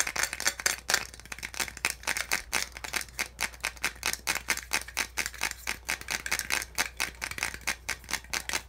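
Fingernails and fingertips rapidly tap and scratch the ridged slots of a small white hollow molded-plastic handset box insert held in the hand. The result is a fast, uneven stream of dry, bright plastic clicks and scratchy rattles that die away almost instantly, over a faint steady low hum.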